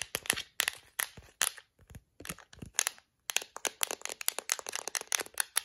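Long acrylic nails scratch and flick the black bristles of a yellow-rimmed plastic detangling hairbrush. The result is a rapid series of dry, bright crackling scrapes and ticks with almost no low end, and each one dies away instantly. There are brief silent pauses between bursts.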